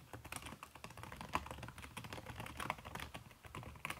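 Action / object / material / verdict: tap / laptop keyboard with silicone key cover / silicone / none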